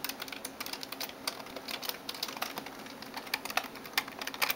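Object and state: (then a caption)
Plastic computer keyboard. Long nails type and tap on the keys of a backlit plastic gaming keyboard. Quick, sharp clicks come in uneven bursts, bright with little low end, and each dies away almost at once.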